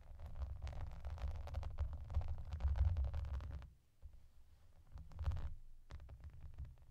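Long painted nails tap and scratch the raised hollow bubbles of a clear, soft plastic bath mat with yellow duck shapes, using both hands and working around the ducks. A dense run of quick, soft, low thumps and scratchy rustles fills the first few seconds, drops to near silence briefly, then resumes in lighter bursts.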